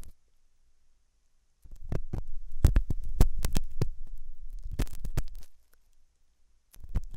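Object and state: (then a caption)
Silicone ear model being scratched. A hooked metal dental tool scratches inside the ear canal of a white translucent silicone ear model made of soft solid rubber, likely mounted on a binaural ear microphone. After a quiet start, a dense run of deep, muffled scraping rumbles and sharp clicky strokes plays for several seconds, with nearly all the energy in the low range. It falls quiet again before a few more scrapes at the end.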